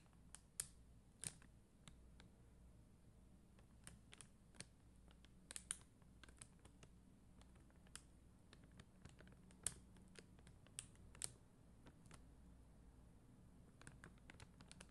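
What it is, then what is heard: Plastic rhinestone sticker sheet. Long dark-green nails tap on a flat sheet of red and clear faceted plastic rhinestone stickers on a white backing. Quiet, sharp, bright ticks and clicks sound at an irregular pace, each dying away instantly, over a soft low hum.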